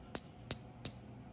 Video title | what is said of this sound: 9 Ways to Spot FAKE Silver as Shown by a Coin Shop Owner | You can hear that clad. It doesn't have that ting ting, that ring.